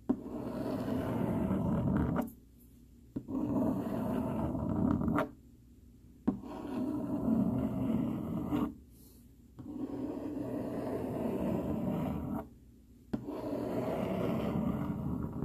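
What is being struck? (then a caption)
Plastic fork on corrugated cardboard. A hand-held dark plastic fork scratches its tines across a flat, solid sheet of brown corrugated cardboard. Five continuous, rough rasping passes are separated by brief silent pauses, with a dry, grainy texture concentrated in the low and middle range.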